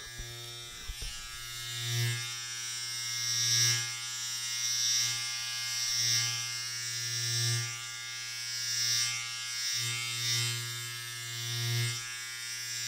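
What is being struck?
Nothing is struck.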